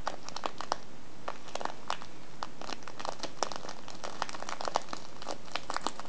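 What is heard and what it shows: The folded top of a small, filled kraft paper tea bag with a window is crinkled with the fingers of both hands. Soft, continuous crinkling is broken by quick, dry crackles that reach up to a bright edge. The crinkling stays quiet and steady throughout, with no words.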